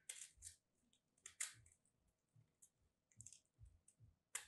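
A metal craft blade slices and scrapes a solid lilac starch-coated soap piece held between fingertips, with crumbs falling. About ten crisp, bright, dry crunches and scrapes are heard, separated by quiet gaps with soft low thuds. Each one cuts off quickly with almost no ring.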